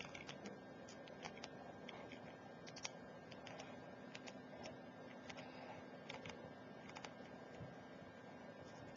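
Long, pointed, glittery nails tap rapidly on a full glass Ajmal Shadow perfume bottle and its metal collar while the bottle lies on its side on a laptop keyboard. The quiet, sharp, clicky taps are bright and very short, with almost no ring. They sit over a steady, faint background hum.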